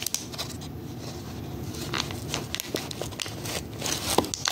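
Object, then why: Clear plastic blister pack on cardboard holding rubber erasers. A knit-gloved hand presses and crinkles the hollow clear plastic blister of a cardboard-backed pack holding five animal-shaped rubber erasers. The plastic gives a steady, dry crinkling and crackling, broken by sharp, bright clicks and pops as the blister flexes.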